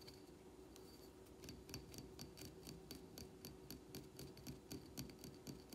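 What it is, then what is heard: Glazed ceramic plant pot. Fingernails tap quickly on the hard glazed surface of a small, empty, dark blue glazed ceramic plant pot with a drainage hole, held up in the hands. The rapid, slightly uneven taps come about four per second as bright, short clicks with a brief ring. A steady low hum sits underneath.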